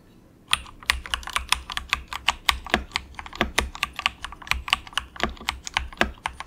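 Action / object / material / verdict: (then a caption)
tap / plastic mechanical keyboard / plastic / none. Fingertips of both hands type softly in quick taps on a cheap compact mechanical keyboard with grey and orange plastic keycaps and a hollow plastic case. After a brief quiet start, a steady stream of short, bright, clacky keystrokes follows, each dying almost instantly, with a faint hollow low thump beneath.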